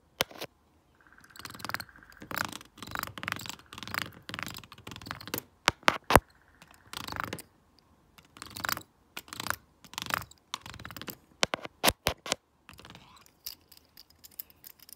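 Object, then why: Plastic remote control with stone roller. A stone face roller is rolled by hand over the keypad of a hollow, flat plastic LED remote control with colored buttons. Bursts of dry, bright rattling and scratchy rolling come with sharp clicks as the buttons are pressed and released. Brief faint steady tones appear in a couple of passes, and short pauses fall between strokes.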